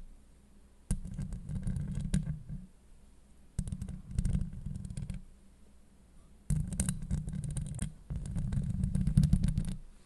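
Long acrylic nails on both hands scratch and grip the hollow steel mesh grille of a Blue Yeti microphone in four separate bursts of rapid, uneven scraping. The sound is a dense, low, rumbling rasp with faint bright crackle on top, and brief quiet gaps between bursts.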